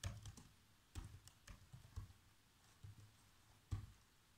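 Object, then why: Plastic laptop keyboard keys. Bare fingertips with short nails type continuously on a black plastic laptop keyboard, pressing the keys in quick, irregular taps. Each keystroke is a soft, dull, low thud with a faint bright click on top, dying away almost at once into quiet between presses.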